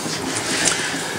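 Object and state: Nothing is struck.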